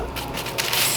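Crispy roasted potatoes, boiled with a little baking soda, roughed up and roasted, are scraped and crunched straight out of the oven. The result is a bright, crackly scraping crunch with a few sharper crisp bursts toward the end, showing how crispy they are.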